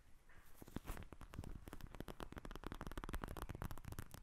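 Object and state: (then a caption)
Plastic gel bead eye mask. Long nails tap and scratch a pink plastic eye mask filled with gel beads, lying in front of the recorder. The result is a quick, dense run of short, dry taps with crackly scratching between them. Each tap dies away almost at once, with most of the energy in the low end.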